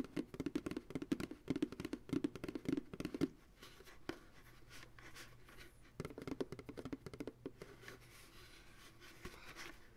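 The hollow bottom of an empty white plastic ice cream pail, resting on a lap with its bottom turned outward, is tapped with the fingertips of both hands. Quick clusters of soft, hollow drumming with a low-mid tone fill the first three seconds, then fade to a quiet stretch with a few isolated taps. A second burst of tapping follows before trailing off into sparse, light knocks.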